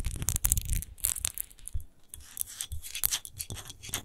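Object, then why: Textured glass bottle. Long nails scratch fast over a large, hollow, clear glass rose-shaped wine bottle with a rose-textured base, apparently empty. The clip is a run of quick, uneven scratching strokes: bright, gritty rasps over a dull low rumble, with short pauses between bursts.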